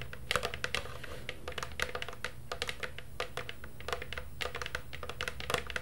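Long purple nails tap and scratch the outer side of a medium, hollow black plastic Halloween cauldron with a rim and side handle. Quick, bright clicking taps carry a short hollow plastic tone around 500 Hz and die away almost at once. A steady low hum runs underneath throughout.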